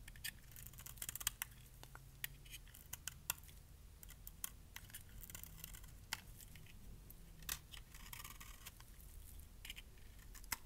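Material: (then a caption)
Soap. A metal blade shaves small curls off the edge of a solid, light pink bar of dry soap held in the hand. Short, crisp, bright scraping snips sound one after another over a low, steady background hum.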